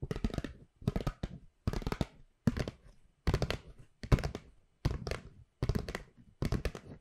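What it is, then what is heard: Paper gift bag. Long pink nails tap and scratch a hollow white paper shopping bag with black handles, producing nine quick bursts of dull, papery thumps and crinkly scrapes. The taps are short and dry with a low, hollow body, separated by brief pauses.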